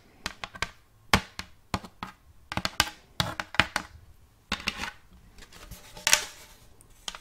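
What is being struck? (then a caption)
Round wooden plate. A round wooden plate with a checkerboard block inlay is picked up from flat, held upright, and tapped with long acrylic nails. The result is an irregular series of short, dry, bright clicks and taps with almost no ring, mixed with a few brief scratchy bursts.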